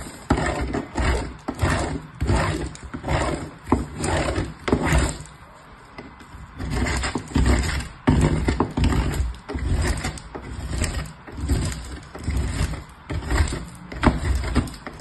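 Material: Soap, metal.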